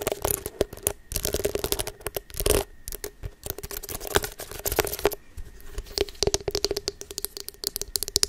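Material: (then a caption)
Silicone. Long nails and fingertips scratch and rub the soft bristles of a small, solid pink silicone facial cleansing brush held close to the microphone. The result is a dense run of quick, crackly scrapes and taps with bright, papery texture, pausing briefly before starting again, over a faint steady tone.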